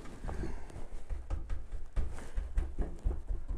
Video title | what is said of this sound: Tech Tips 1- 2023- Diagnosing Rattles- band instrument repair- Wes Lee Music | when we just bounce around on the instrument we don't hear any solder joints